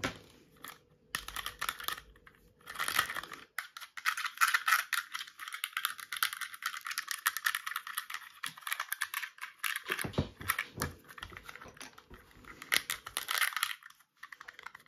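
A small, flat, hollow-centred red plastic spool wound with white PTFE plumber's thread-seal tape is held in both hands and quickly tapped and scratched with long red-tipped nails. The result is a rapid, dense stream of dry, crinkly clicks and scrapes, bright with almost no low end, each sound dying away almost instantly. Brief quieter gaps break up the bursts.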